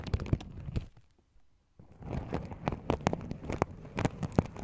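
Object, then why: Sequin-covered fabric pouch. Fingers pinch and flip the sequins at the rim of a small, open, empty sequin-covered fabric pouch. It makes dense, dry crackling clicks with soft low rustle underneath, pauses into near silence for under a second, then resumes with sharper, brighter ticks.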